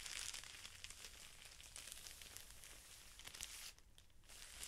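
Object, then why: Felt sheets in a thin clear plastic wrapper. A pack of felt sheets in a clear plastic wrapper, with fingertips pressing and rubbing the top edge of the plastic. Bright, crisp crinkling runs throughout, made of many quick rustling bursts. The sound briefly softens near the end before picking up again.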